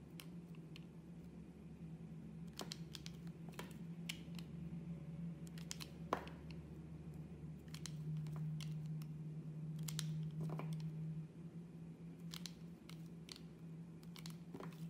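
A hand with long red nails slices a solid translucent green glycerin soap block into thin sheets with a metal blade. Soft, crisp scraping cuts and brief bright ticks repeat irregularly over a steady low hum, with one sharper snap near the middle.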